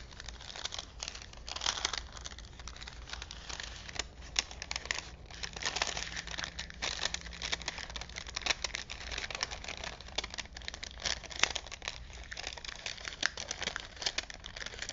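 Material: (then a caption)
Paper. A thin printed paper film strip from a vintage toy movie set, rolled as a hollow roll on small wooden spools and held in both hands, is unrolled, bent and crinkled by fingertips. Dense, bright crinkling and crackling runs steadily throughout, with many sharp, quick snaps and almost no low-end body.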